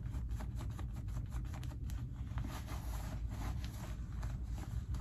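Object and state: Denim jeans pockets being rubbed.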